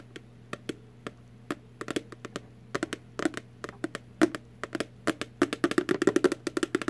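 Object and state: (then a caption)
Empty cardboard candy box. Long artificial nails tap on an empty little cardboard Warheads candy box. The taps are short, dry and hollow-sounding with almost no ring, landing in an irregular pattern that grows denser and louder toward the end over a faint steady low hum.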